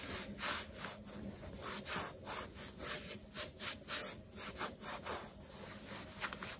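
A black leather low-top sneaker with metal eyelets, stuffed with a cloth, is held in one hand while the other hand rubs the leather and the sole edge with a dark cloth over the fingertips. The result is a steady series of soft, bright brushing swishes that rise and fall in a rhythmic back-and-forth.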